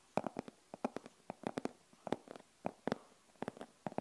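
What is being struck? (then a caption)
Fabric-covered rigid glasses case. Long acrylic nails scratch and tap along the top and face of a closed, hollow, rigid glasses case with a printed denim-look fabric covering. The result is a quiet, irregular series of short, dry clicks and brief scratches, with a hollow mid-range tone and almost no ring.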